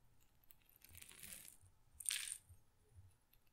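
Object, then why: Glass pepper grinder with peppercorns. A small glass pepper grinder jar, partly full of peppercorns, is tilted and shaken by hand so the peppercorns rattle against the glass. A soft, bright swish of rattling around the middle is followed by a sharper, louder burst of clinking. Both give way to quiet low-level background.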